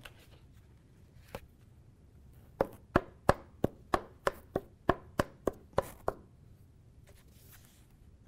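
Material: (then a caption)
Ceramic composite. A certified tap tool strikes a delaminated E-SAPI ceramic composite body armor plate along its edges, working inward: one tap, then a steady run of twelve quick taps. Every strike gives a short, dull thud that dies away at once, with no chime. The thuds throughout mark the plate as bad, so it is segregated and not issued.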